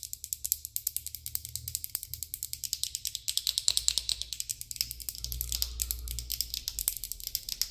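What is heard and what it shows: A slim plastic glitter pen with a clear barrel full of small pale beads and a metallic tip is held close and tapped and scratched with long acrylic nails. Rapid, dry, bright clicks and scratchy ticks run nearly continuously in a quick ratchet-like patter, with a faint low hum underneath.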